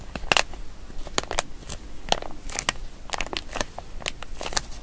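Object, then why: Plastic zip-lock bag. A small, seemingly empty printed plastic zip-lock pouch labeled "Hyper Spice," with a pink zip line and a yellow tab, is held in both hands while fingertips and nails crinkle it and work the zip seal. The result is a steady stream of sharp, bright crackles and quick dry clicks with almost no ring, over a soft low rumble.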